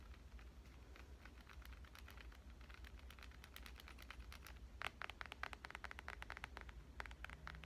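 A black, hand-sized glass-and-metal smartphone with a glass screen and back is held in one hand and tapped on its back and edges with long dark-painted fingernails. Rapid, light, clicky taps with bright edges sit over a steady low hum. After about five seconds the taps grow sharper and louder.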